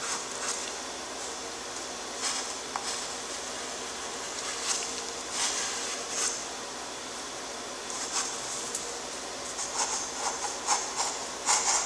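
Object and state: Nothing is struck.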